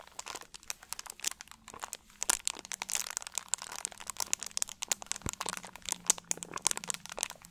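An empty, hollow clear plastic drink bottle with a label is squeezed and crinkled with both hands and fingertips. The result is a dense, continuous run of sharp, bright crackles and crunchy pops that stop instantly, with almost no low end.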